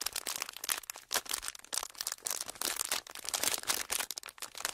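A small, thin, empty sheet of clear folded, pleated plastic is held in both hands while fingertips squeeze, crinkle and rub it. Dense, bright crackling comes in uneven bursts, with almost no low end and each crackle dying away at once.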